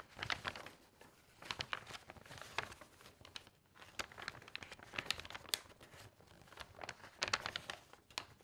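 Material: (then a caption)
Glossy paper. Fingertips with long nails lift, rub and turn the thin sheets of a thick stack of loose, slightly water-damaged glossy magazine recipe pages lying on a table, one after another. Bright, crisp crinkles and rustles come in quiet clustered bursts with short, dry pauses between them.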